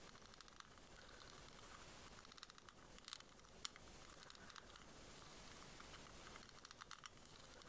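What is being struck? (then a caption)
Small hard plastic shell-shaped case. A small, hollow, white ribbed plastic pearl case shaped like a shell is held in the hands and tapped and scratched with long nails. Quiet, bright crinkling scratches run throughout, broken by sharp, dry little taps that stop almost instantly.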